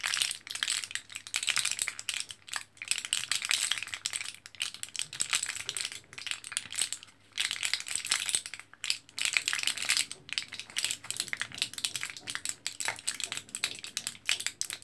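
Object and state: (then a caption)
Plastic and foil blister pack of capsules. An orange foil-backed plastic blister card of capsules is held in both hands while fingertips press and tap the blisters. The result is a dense, quiet stream of bright, crinkly clicks and rattling taps with brief pauses, ringing very little and carrying almost no low end.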